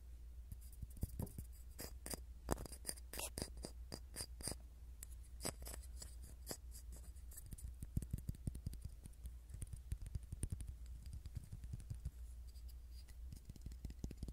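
A flat, thin, tan plastic plate shaped like a pineapple house, with a raised grid pattern, is held in both hands and tapped and scratched with fingertips and nails. Dense, very short, bright clicks and scratchy ticks run throughout over a steady low hum. The clicks come fast and quiet.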